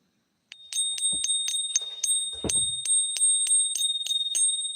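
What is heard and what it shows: A silver coin is pinged repeatedly in the ping test, and each strike gives a bright, sustained bell-like ring centered near 3.7 kHz with a higher overtone. The ring confirms it is real silver.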